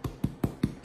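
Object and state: Hollow-sounding baked bread loaf (done).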